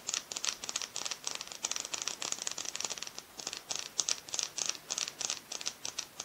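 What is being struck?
Plastic liquid lipstick tube.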